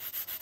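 A fried potato strip, a crisp French fry, is rubbed or crunched, making three dry, scratchy bursts of high-pitched crackle. The sound has almost no low end and dies away quickly after each burst. The crackling shows that the fry's skin is very crisp.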